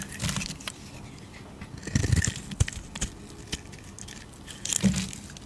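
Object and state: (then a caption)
Soap bar being shaved. A hand-sized solid cream bar of soap is shaved with a metal utility blade that curls off shavings. Soft, crisp scraping strokes come in uneven bursts with a dull low body and a bright, crinkly edge, plus a few sharper clicks in between.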